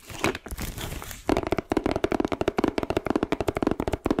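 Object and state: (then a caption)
Plastic-wrapped cardboard box. Long nails scratch and crinkle the clear plastic film wrapped over a flat, hand-sized pink Mickey-shaped cardboard gift box, making a steady rustling for just over a second. This gives way to a rapid, even run of about twenty short, crisp taps with a hollow, low-mid knock under the bright plastic click.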